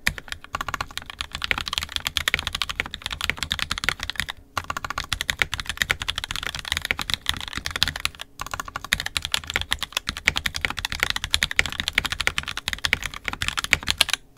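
Fingertips of both hands type continuously on an NK65 Entry Edition 65% mechanical keyboard with a purple plastic case, red and black plastic keycaps, and lubed and filmed 67g Tangies switches. It makes a rapid stream of crisp, short, bright clacks with little low end, pausing briefly near 4.5 and 8.3 seconds.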